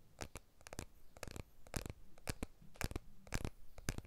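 A blue iPhone 12 with a glass back and aluminium frame is held horizontally in both hands, glass back facing out, while fingertips and nails tap and scratch the back and frame. Quiet, dry, bright clicks and ticks come in an irregular run of about two per second, each dying away almost instantly. A soft low rumble sits underneath.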